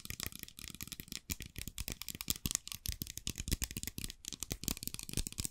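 A small plastic bottle with a white cap, partly filled with blue liquid, is held in both hands and tapped and scratched with long dark-painted nails. Rapid, dry clicks and scratches follow one another with almost no ring, giving a bright crackle over a soft low thump.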